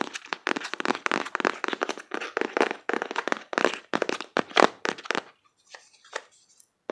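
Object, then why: Cardboard box. Fingertips and nails tap quickly on the front face of a closed, printed cardboard card box held in both hands. The taps are dry, crisp and papery, centered in the midrange with bright edges, no low end and almost no ring. They come in dense bursts for about five seconds, then thin out to a few scattered taps.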